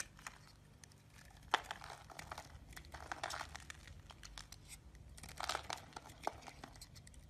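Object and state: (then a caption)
Bar of soap being carved. A solid lime-green bar of soap is held in the palm and scraped with a small yellow-handled knife, producing shavings. Quiet, dry scraping and crinkly rasps come in uneven strokes, with a few sharper ticks as the blade catches.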